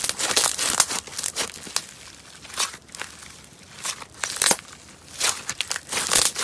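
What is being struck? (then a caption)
Foam-bead slime being squeezed and poked. A palm-sized, pale yellow foam-bead slime with no container is squeezed, poked and pressed by fingers. Bursts of crunchy, crackling squish sounds come in clusters, bright and dense, separated by quieter pauses.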